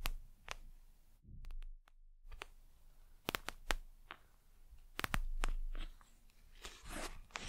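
A gel eye mask with a plastic cover is scratched and tapped with long nails on its glossy plastic gel surface. Sharp, bright clicks and taps stand out over low rustling and crinkling, with a brief near-silent gap early on and a soft swishing scrape near the end.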